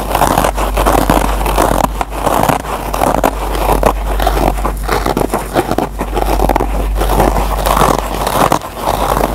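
Short fingernails scratch the green nylon scour pad of a single foam scrub sponge, making a steady, dense scratchy rasp with fine crackle and brief dips. The sound sits in the midrange around 1 kHz over a constant low hum.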